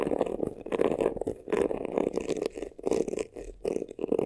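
Fingernails scratch quickly across the textured front and sides of a hollow, black crocodile-embossed faux leather vanity case. The result is bursts of dry, raspy scratching with a hollow midrange body and brighter scraping texture on top, separated by brief pauses.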